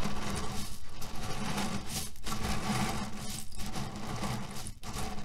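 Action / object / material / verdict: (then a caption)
scrape / cotton pillow filled with cherry pits / cherry pits / none. A cotton cushion filled with cherry pits is rubbed with the palms and scratched with fingernails, giving a steady low, rustling, gritty shuffle of shifting pits. The sound runs continuously, broken by a few brief dips.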